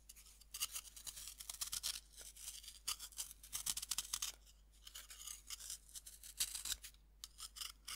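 A metal knife scrapes powder off the surface of a fist-sized, solid pink pressed-powder bath bomb held in hand over a wooden board. Quiet, dry, bright scratching strokes come in dense bursts with short pauses. The gritty hiss sits almost entirely in the high range, with little low end.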